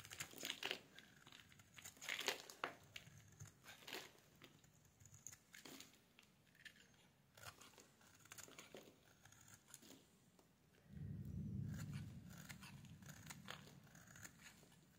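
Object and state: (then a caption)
Bar soap being shaved. A solid pale pink bar of soap held in the hands is shaved with a metal blade, and the flakes fall onto a wooden surface. Quick, crisp scraping and crinkling strokes sound in a fast, uneven series. A steadier low rumble rises near the end.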